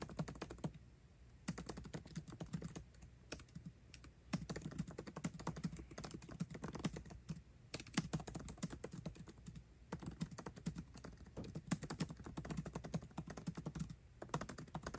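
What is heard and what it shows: Fingertips type fast on a MacBook Pro keyboard with plastic keycaps set in an aluminum body. It makes a dense stream of short, dry clicks with a soft low thump, broken by brief pauses. Each keystroke dies away almost instantly.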